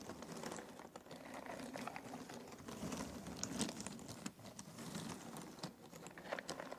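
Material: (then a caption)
Cardboard. Fingertips rummage through a pile of thin cardboard jigsaw puzzle pieces in an open box. A steady, quiet stream of dense light clicks, ticks and papery rustling continues throughout, with brief brighter clicks standing out here and there.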